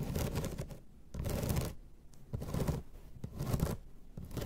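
Long red nails scratch across the slats of a flat bamboo placemat in a series of rough, rhythmic strokes. Each stroke is a dense, grainy rasp with a low, hollow body and a faint bright edge, separated by short quiet pauses.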